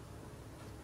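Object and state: Nothing is struck.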